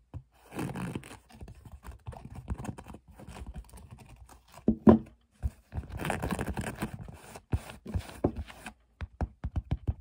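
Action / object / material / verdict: tap / woven fabric storage box / woven fabric / none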